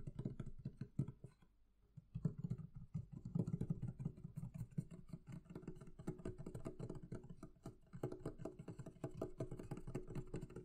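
Fingertips and long nails tap rapidly on the wooden lid and curved lower sides of a medium, hollow, closed wooden barrel chest. The result is a dense run of dull, low, hollow knocks that die away almost instantly, with a brief lull near the two-second mark before the tapping resumes and continues steadily.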